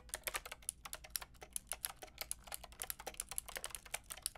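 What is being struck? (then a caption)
Plastic mechanical keyboard with round keycaps. A white and pink Lofree mechanical keyboard with round plastic keycaps is typed on with long painted nails and fingertips. About 30 quick, bright, clicky taps come in a steady stream, each dying away almost at once over a faint low hum.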